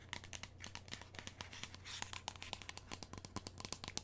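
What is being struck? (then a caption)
Plastic lotion bottle. A medium-sized, hollow white and orange plastic lotion bottle, held in the hands, is tapped and scratched with long nails. A quick, irregular series of sharp, bright clicks and taps mixes with crinkly scratching, over a faint low steady hum.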